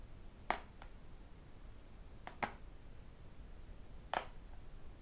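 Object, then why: Tablet glass screen. A tablet lies screen-up on a desk while its glass screen is tapped with fingertips and the metal rings worn on the fingers. Three sharp, bright clicks, with a couple of fainter ticks near them, come at irregular intervals. Each is short and dry with almost no ring, over a quiet low background hum.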